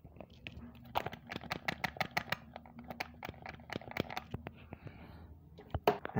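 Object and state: Sealed die-cast toy car package, tight when shaken.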